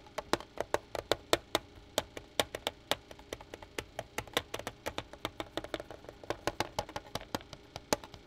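Fingertips tap the face of a flat black plastic pocket calculator lying on a pad on the counter. About 42 short, dry, clicky taps come in a quick, uneven rhythm, each dying away almost at once with a bright, woody knock and little low end.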